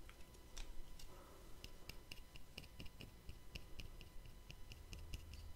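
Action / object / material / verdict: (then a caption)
tap / small round plastic lid / plastic / none. A small round black plastic cap or lid, held close to the microphone, is tapped and scratched with fingertips and short nails. Quiet, dry, bright clicks come in an irregular run with a faint scratchy texture and a low background rumble. Each tap stops at once with no ring.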